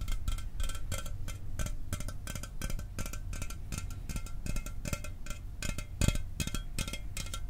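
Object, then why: Aluminum soda can. A sealed, hollow 12 oz Mountain Dew aluminum soda can is held up and tapped quickly with the fingernails and fingertips of the other hand. It makes a steady stream of short, dry metallic clicks with bright edges over a soft low thump, each dying away almost at once.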